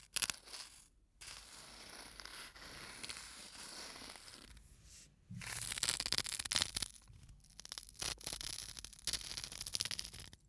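Fingers rub and scratch the metal screw cap and neck of a small glass bottle full of sand held close to the mic. The result is a bright, dry, tearing rasp in uneven bursts and sustained stretches, broken by brief quiet gaps.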